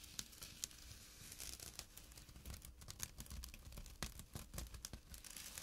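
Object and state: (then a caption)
Burlap drawstring bag. Fingertips and short nails scratch a small, empty jute burlap pouch with a drawstring resting on dark cloth. The result is a quiet, dry, rough scratching with crackly, tearing-like bursts and a bright hiss over a soft low rumble.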